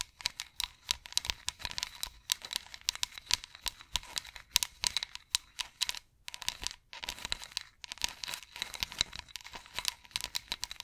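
Long acrylic nails scratch along the carved ridges of a solid, cylindrical, ridged wooden massage roller, producing rapid, dry, bright clicking and scraping in quick bursts. The sound is crisp and high with almost no low end. Short pauses break up the strokes.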